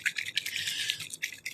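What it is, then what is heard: Ink bottle with mixing ball rattling freely. A bottle of metallic gold or copper alcohol ink is shaken to mix it, and the mixing ball inside rattles in quick, bright, high-pitched clicks. The steady rattling shows the ball is moving freely, stirring the ink as it should.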